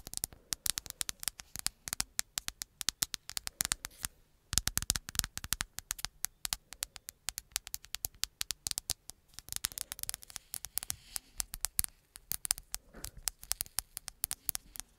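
Long acrylic nails tap rapidly on the glass and plastic back and edges of a black smartphone held upright. The result is a dense run of sharp, bright clicks with almost no low end, each dying away instantly. The tapping continues steadily, with brief pauses around four and twelve seconds.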